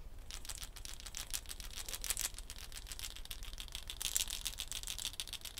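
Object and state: Gourd shaker with wooden bead net.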